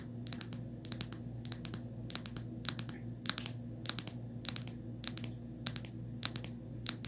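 Long nails tap and scratch the inner surface of an empty black textured rubber phone case. Short clusters of quick, bright clicking taps recur about every half second over a steady low hum.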